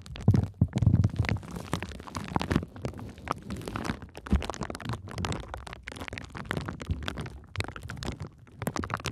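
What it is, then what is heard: Plastic bubble wrap. A sheet of clear plastic bubble wrap with air-filled bubbles, wrapped around the microphone, is pressed and scratched by long nails and fingertips. The result is a dense, continuous run of muffled low thumps and rustling, with quick bright crackles and scratches layered throughout.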